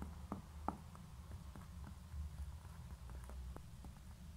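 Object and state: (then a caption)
Concrete pen holder. Long nails tap and scratch the bottom of a small, hollow grey concrete pen holder that is turned over, with a label on its base. A few quiet, sharp clicks die away almost instantly, with soft scratching in between over a steady low rumble.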